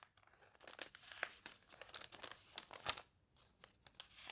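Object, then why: Glossy paper catalog pages. Long nails scratch across the warped, glossy pages of an open paper toy catalog, and fingers turn a page, crinkling it. Quiet, bright, irregular scratching and crackling bursts come with dry, papery crunches and almost no low end.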